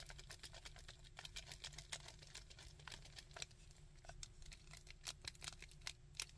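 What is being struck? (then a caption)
Hard plastic action figure. Fingertips tap and click on the arms and mace-shaped fist of a chunky, hard plastic Sandman action figure. Quick, dry, bright clicks and taps patter unevenly over a steady low hum, each dying away almost instantly.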